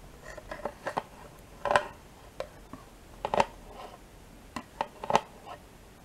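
A metal spoon scrapes along the inside walls of a small, thin, two-compartment plastic yogurt cup that is mostly empty with yogurt residue. Eleven short, irregularly spaced scrapes and clicks sound dry and hollow, centered around 1 kHz with brief bright edges and almost no ring.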